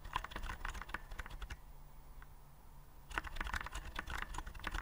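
Fingertips type rapidly on a white plastic typewriter-style keyboard with round keycaps, held upright. The result is a fast run of short, crisp plastic clicks and taps. The typing pauses for about a second and a half in the middle, leaving a low, faint hum, then resumes at the same quick pace.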